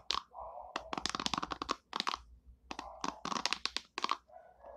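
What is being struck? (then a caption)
Plastic hairbrush. Long nails tap the hollow back of an orange plastic hairbrush and flick its white plastic bristles. The result is quick, dry clicks and crackly bursts that reach into the highs, separated by softer scratchy passages.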